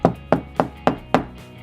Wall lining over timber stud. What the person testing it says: high pitched that's where I've got solid timber